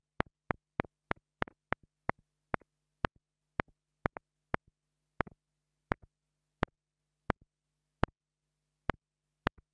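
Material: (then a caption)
Plastic. A small black plastic mini lavalier microphone, a $2 mini mic held in fingers with long nails, is tapped repeatedly with the tip of a thin wooden stick. About twenty sharp, dry clicks are spaced out irregularly over a quiet background with a steady low hum, each tap dying away almost instantly and some followed by a faint softer secondary tick.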